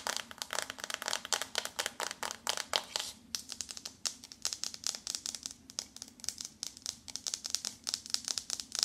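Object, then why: Paperboard eyeshadow palette. Long nails scratch the front of a flat, glossy pink paperboard eyeshadow palette held in both hands, then tap along its top edge. The result is a steady run of rapid, dry, crisp clicks and scratchy rasps, bright and high-pitched with no low end. Each tap dies away almost instantly.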